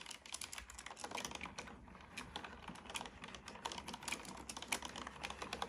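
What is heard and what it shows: Fingertips of one hand type on a black plastic computer keyboard with hollow plastic keys. The result is a steady, irregular stream of quick, bright, clicky taps that die away almost instantly, with a brief lull around the two-second mark.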